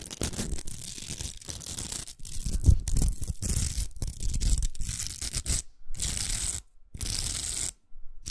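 Long nails scratch the velcro of a large, hollow pink plastic velcro hair roller, making dense, rough scratching and rasping. The scratching comes in continuous bursts with a bright, hissy edge and a low rumble, broken by a few short silent gaps near the end.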